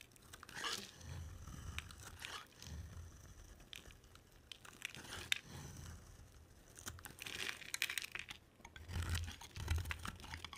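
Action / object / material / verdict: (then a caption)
scrape / bar of soap cut with a blade / soap / none. A palm-sized, solid green and white striped bar of dry soap is carved with a box cutter blade. Many short, bright crunching and scraping cuts come in clusters over a low rumble, with brief quiet gaps between the bursts.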